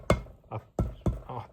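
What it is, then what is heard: Loose engine valves in a cylinder head. Six short, dull taps on the steel valves in the removed cast iron cylinder head of a Perkins diesel from a Gehl 4600. Each gives a sharp click with a low knock that dies away almost at once. The valves sit loosely and move, and the tapping suggests they are quite loose, so the head is being sent off for machining and valve grinding.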